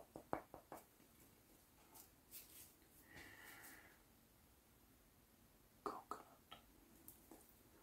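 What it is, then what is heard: Coconut husk being scratched. Fingertips and nails scratch and pluck the coarse fibres of a whole, hairy, hand-sized coconut with a hard shell, held in one hand. Seven quiet, sharp, dry plucks come in two groups, at the start and near the end. Between them are soft, brushing scratches with a faint bright hiss.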